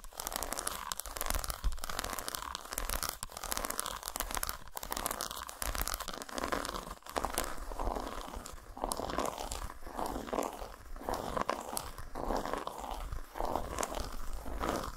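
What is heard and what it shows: Long nails scratch and tap a solid segmented dark chocolate bar lying flat on a towel. The result is a dense, continuous run of dry crunchy scratching and quick crinkly taps, with no pauses and only brief ringing.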